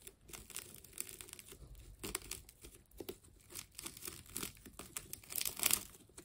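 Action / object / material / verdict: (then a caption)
scrape / wound plastic tape ball / plastic tape / none. A hand-sized solid ball of orange wound plastic tape is cut into with a utility knife and its layers are peeled apart. The result is a quiet run of bright, crisp crinkling and tearing in short bursts, with a louder tearing rip near the end.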